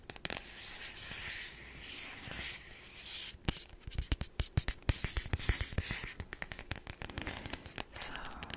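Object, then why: Thin cardboard album sleeve. Long black acrylic nails scratch across a small, thin printed cardboard album sleeve with a mountain illustration, held in one hand, making a soft, papery hiss for about three seconds. Then come rapid, sharp, dry taps on the sleeve, each dying away almost at once.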